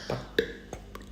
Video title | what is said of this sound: Homemade Peanut 🥜 Chikki #shortsfeed #shorts #ytshorts #viralshortsfeed | టక్ టక్ అని సౌండ్ వస్తుంది. ఆ సౌండ్ వస్తే చేత్తోనే విరిగితే సౌండ్ రావాలి. సో మనకి అప్పుడు పాకం రెడీ అయినట్టు.